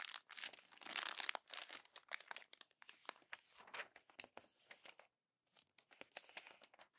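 Fingertips and palms press, crumple and fold the pages of an open glossy paper magazine, making bright, dense crinkling and crackling with short snaps and tearing-like rustles. The sound comes in busy bursts, stops briefly just after five seconds, then resumes with lighter crinkles.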